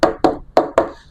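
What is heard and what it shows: Four knocks on the thick polycarbonate (lexan) body shell of an FS Racing Freemen Mojave 1/10 RC crawler, its material thicker than the earlier Bronco version's. Each knock is a short, dense midrange tap centered around 660 Hz that dies away quickly, with little low rumble or high ring.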